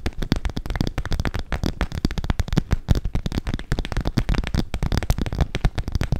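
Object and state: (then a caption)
Clear PVC cosmetic pouch. Long acrylic nails rapidly tap and scratch the crinkly surface of a medium-size, soft, hollow, apparently empty clear transparent PVC/vinyl makeup pouch with pink trim, held close to the microphone. The result is a dense run of quick, dry taps with short crackly rustles, dominated by deep, muffled thumps and very little high sparkle.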